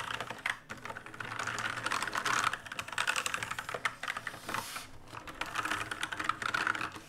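Fast fingertip typing and key mashing on an RGB-lit black mechanical keyboard with plastic keycaps. A dense, continuous stream of sharp, short clicks and clacks with a bright, mid-high tone centered near 1.3 kHz. Its bursts swell and ease with almost no low end.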